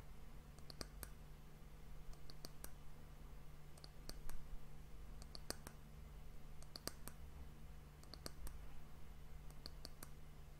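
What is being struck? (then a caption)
Wooden hourglass end cap. Long fingernails tap rapidly on the solid, dark, polished wooden round end cap of an hourglass, producing bursts of sharp, dry clicks in quick clusters. A steady low hum runs underneath the taps.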